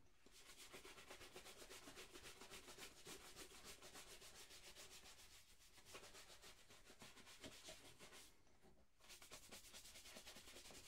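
A single black leather dress shoe, hollow and held sideways, is brushed with a wooden-backed horsehair shoe brush in quick rub strokes. A steady, bright, scratchy swishing repeats at a fast rhythm of about four strokes per second, with a brief lull near the end before the brushing resumes.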